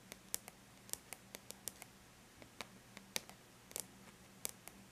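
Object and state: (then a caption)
Aluminum laptop lid tapped with fingernails. Long bare natural nails lightly tap a flat silver-gray aluminum laptop lid, making about 17 quick, bright clicks at an uneven pace. Each tap is dry and dies away almost at once. A faint steady low hum sits underneath.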